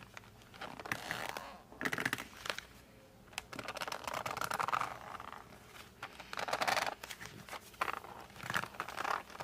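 Fingertips grip and rub the printed back of a flat rectangular cardboard case of 52 colored pencils, held in both hands, to make squeaky sounds. Bursts of dry, crinkly squeaks and scratches centered around 1.7 kHz come in several clusters. Quiet gaps separate the clusters.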